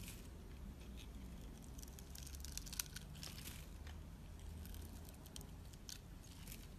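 A utility knife blade shaves long thin strips off a hand-sized, solid, pale pinkish-white rectangular bar of soap. The scraping comes through as quiet, crisp, crackly bursts of bright texture over a steady low rumble.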